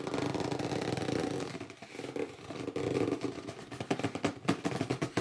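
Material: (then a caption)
Cardboard. Fingertips scratch the top edge of a hollow red cardboard box standing upright, while palms grip and rub its sides. Dense, dry scratching and rubbing mix with squeaky, low-mid tones, then turn into sharper bursts of gripping near the end.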